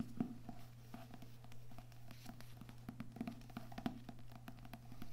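Books with paper and cardboard covers are tapped softly with the fingers, making a quick patter of light, dull taps that die away almost at once. A steady low hum runs underneath throughout.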